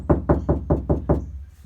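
Six evenly spaced knocks on the steel passenger door panel of a car, empty inside with no sound deadening yet applied. Each knock is a dull, low thump that dies away almost at once. The door sounds hollow.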